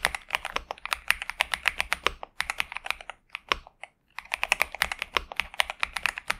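Both hands type continuously with their fingertips on a pink and purple Xinmeng M71 65% mechanical keyboard with TTC Superman and plastic keycaps, resting on a desk mat. Dozens of quick, bright, clacky keystrokes come in rapid runs with almost no low end and very short decay. The typing pauses briefly near the middle before resuming.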